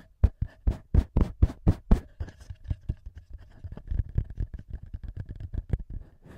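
Fingertips tap and scratch the top edge and metal mic capsules of a small black plastic TASCAM handheld audio recorder. A run of strong, evenly spaced low thumps comes first, then faster, softer, uneven taps and scratchy rubs, all dull and close with almost no ring.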